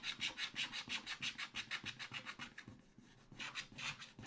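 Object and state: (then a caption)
Scratch-art paper card being scratched. A wooden stylus scratches the coating of a thin black scratch-art card in a spiral pad with short, rapid strokes. About nineteen dry, bright, hissy scrapes follow one another in an uneven rhythm, with a brief pause near the end before a few more strokes.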